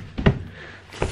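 A hand knocks or bounces on a very hard hotel bed mattress, stiff as a board. Short, dull, low thuds are heard with almost no ring, an early cluster and then a softer one about a second later. The mattress gives a flat, solid knock rather than any springy give, confirming it is unusually hard.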